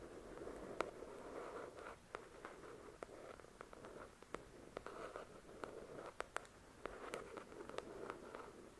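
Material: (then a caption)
Paper. Long acrylic nails tap and scratch the glossy card cover of a thick paperback novel lying flat, its solid paper beneath. Quiet, continuous papery scratching with a soft midrange hiss is broken by many short, sharp, bright clicks from the nail taps, each dying away almost instantly.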